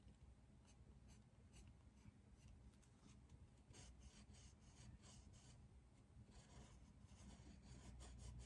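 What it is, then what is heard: Pencil shading on a paper sketch pad. A dark pencil makes fast, rasping strokes across a large white paper drawing pad on a desk while shading leaves. Quiet, scratchy strokes repeat in quick succession as bright streaks over a steady low hum, growing slightly louder toward the end.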